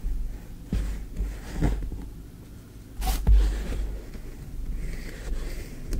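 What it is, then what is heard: Kinetic sand. A small wooden spoon scoops and scrapes green kinetic sand in a tray. It makes soft, low, crumbly scraping sounds in several brief muffled bursts, with a quiet grainy rustle between them.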